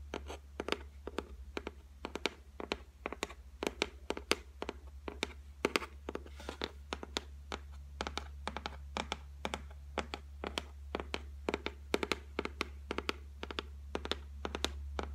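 Long white nails tap rapidly across the flat, solid top of a white laminated shelf, making about 65 short, dry, bright clicks that die away almost at once. A steady low hum runs underneath throughout.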